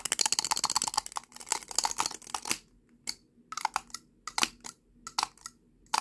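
A small hollow lipstick tube with a red-brown plastic body and a silver metallic-look cap is held horizontally in both hands while fingertips and short nails quickly rattle and twist the lid back and forth on the tube. The result is a rapid stream of bright, dry plastic clicks and rattles that is dense for the first few seconds, then breaks into shorter bursts separated by brief quiet gaps.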